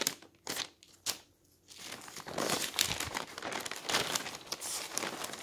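Fingertips quickly lift and flip the thin pages of an open newsprint newspaper lying on a table. Three short, crisp paper flicks stand apart at the start, then a dense, continuous bright rustling and fluttering follows as the pages are turned rapidly.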